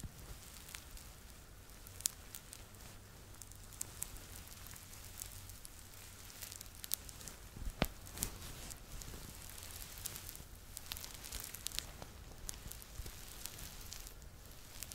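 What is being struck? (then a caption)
Stuffed plush toy, fleece fabric. Fingertips and nails scratch and rub the fuzzy fleece back of a yellow Laa-Laa Teletubby plush toy, a stuffed fleece toy held against the microphone. The result is a steady, quiet, crackly rustle with a low rumble underneath and scattered sharp, bright clicks throughout.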